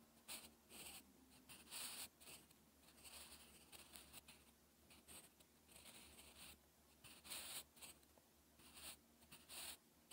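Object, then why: Graphite pencil on a textured paper sheet. A sharpened graphite pencil writes slow strokes across a lined, textured paper sheet, scratching its surface. Bright, airy scratches rise and fall in bursts over a low, steady hum, with the louder strokes standing out clearly.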